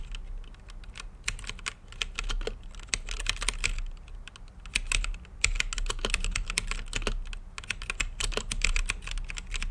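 Fingertips type steadily on an RGB-lit mechanical keyboard with plastic keycaps and a clear acrylic case. Quick, bright clacks of key presses run in uneven bursts with brief pauses, each stroke dying away almost instantly over a low, steady background rumble.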